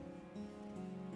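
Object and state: Nothing is struck.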